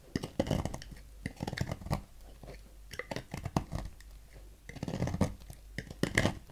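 A thin metal knife scrapes long shavings from a partly carved solid red Safeguard bar soap held in the fingers, piling them up on a table. Clusters of short, dry, crunchy scraping strokes come in quick bursts with quiet gaps between, heavy in the low end, with a faint brighter edge and almost no ring.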